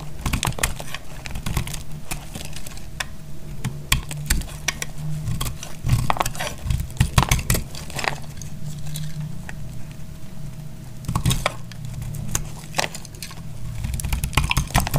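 A small, dry, translucent blue glycerin soap bar held in the hand is scraped and cut with a metal utility knife blade, shaving off crunchy flakes. Many short, dry, crisp scrapes and snaps come in quick clusters over a low, steady hum, with no ring after each cut.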